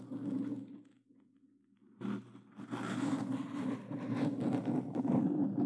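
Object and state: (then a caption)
Foam microphone cover being scratched. Plastic claw gloves scratch a black foam windscreen on a Blue Yeti microphone, making rough, crackly scraping with a steady low hum underneath. The scratching starts, fades to near silence for about a second, then returns louder and keeps going to the end.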